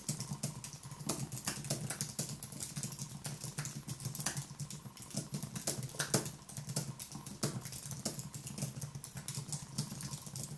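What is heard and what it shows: One hand types rapidly with the fingertips on a thin Apple wireless keyboard with white plastic keys on a low aluminium base, resting on a wooden desk. The result is a dense, continuous stream of short, crisp clicks and taps with bright edges, over a steady low hum.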